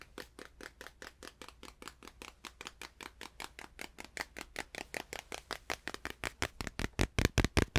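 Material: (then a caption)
Canvas. A small stretched canvas is tapped in a steady, fast run of about 41 short, dry taps that stop almost instantly, each with a soft low thud and a brighter papery tick. The canvas is tapped up close and far away, and the taps grow louder and fuller toward the end over a faint low hum.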